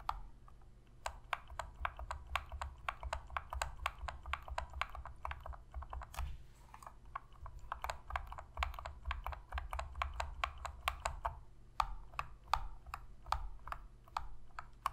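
Long fingernails tap rapidly on and scratch the shell of a black, hollow plastic PlayStation controller, producing a dense run of sharp, dry clicks with a bright edge over a steady low hum. The taps come in quick bursts with brief pauses, each click dying away almost instantly.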